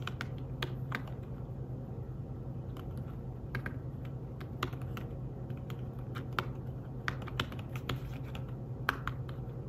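Fingertips type steadily on a thin, flat, grey fabric-covered folio keyboard for a tablet, producing soft, quick, dry tapping clicks with bright edges and almost no ring. A steady low hum sits beneath the irregular flurry of keystrokes throughout.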